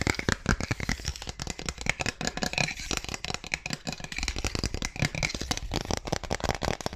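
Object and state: Clear plastic ruler.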